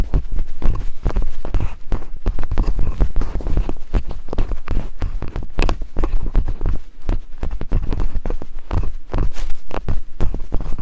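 Thin wooden picks held by long-nailed fingers tap rapidly on silicone binaural microphone ears. The result is a dense stream of deep, muffled thumps, almost all low rumble with very little brightness, each tap dying away almost instantly.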